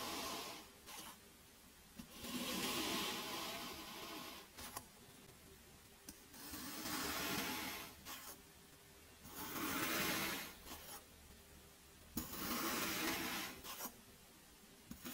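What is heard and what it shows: A small peeler-like metal blade tool stabs and cuts into a white cup full of packed teal kinetic sand. Sharp clicks of the blade entering mark the start of several long, bright, gritty crunching scrapes as it drags through the sand, with quieter pauses between passes.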